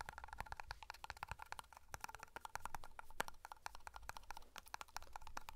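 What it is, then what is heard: Metal tin tapped with fingertips. Fingertips tap quickly on the lid and side of a small black metal pomade hair cream tin held close to the mic. The result is a fast, steady run of short, dry metallic ticks with a faint tinny ring around 840 Hz, over a soft low rumble.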